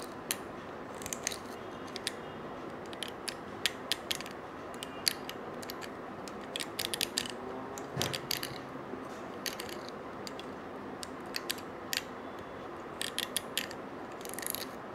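A stiff-bristled brush scratches a small gold-colored coiled wire bangle held in one hand. Many quick, dry, bright clicks and raspy ticks, like a ratchet, pop out irregularly over a steady soft hiss, with a slightly longer scraping burst near the middle.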